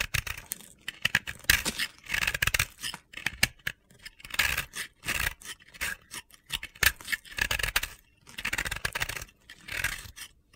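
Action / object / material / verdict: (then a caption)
scrape / pressed-powder bath bomb / pressed powder / none. A utility-knife blade shaves the remaining pink-yellow chunk of a pressed-powder bath bomb ball held in the hand. Repeated dry, gritty scraping strokes come in bright, crunchy bursts with short pauses between them, and crumbly powder falls away.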